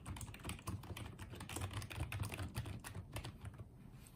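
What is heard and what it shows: Fingertips type on and tap the keys of a small pink and white plastic wireless keyboard, giving a steady run of soft, close clicks with a dull low thump under each press. The strokes come quickly and overlap, each one short with a faint bright edge.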